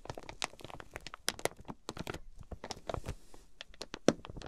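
Long pink nails tap and scratch the clear plastic wrap sealing a flat quilted fabric item with tags, resting on a fluffy mat. Quick, crisp crinkling taps and scrapes follow one another in a busy stream, with a few sharper, brighter clicks standing out. Each tap dies away almost instantly.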